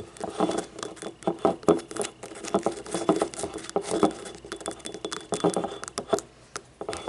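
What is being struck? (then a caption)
Small ribbed ceramic cup. Long nails tap quickly on a small, hollow, yellow ribbed ceramic paint cup lying on its side with its labeled base showing. The result is a fast, uneven patter of light, dry clicks with a hollow mid-pitched knock around 400 Hz. Each tap dies away almost at once.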